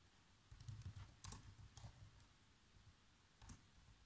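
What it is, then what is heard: Plastic laptop keyboard. Fingertips press the black plastic keys of a laptop keyboard in a short burst of typing, giving seven quiet, dry taps. Most come in a cluster in the first two seconds, with one more near the end. Each tap is a brief low thud with a faint bright click that stops almost at once.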